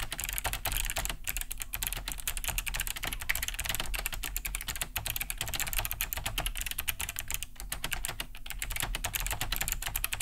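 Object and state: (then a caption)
Plastic mechanical keyboard. Both hands type fast with fingertips on a large beige Cherry G80-3000 mechanical keyboard fitted with Kailh BOX White switches, a plastic case and thick plastic keycaps, resting on a wooden desk. A dense, steady stream of bright, clicky key-switch taps rings briefly over a low thud from the hollow casing.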